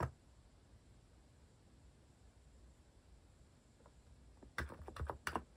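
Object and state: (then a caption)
Plastic mechanical keyboard typing. Fingertips type on a compact mechanical keyboard with a white plastic case and plastic cat-shaped keycaps. After a brief click at the start and a long, quiet stretch with low background rumble, a quick flurry of soft, clacky keystrokes comes near the end. Each tap is short and dry, with almost no ring.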